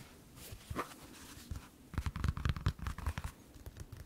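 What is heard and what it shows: Fingertips and nails scratch and tap along the knit fabric upper and rubber sole of a single hollow white sneaker held in both hands. Soft, dull scratching gives way after about two seconds to quicker, irregular taps with low, muffled thuds and dry, brief clicks.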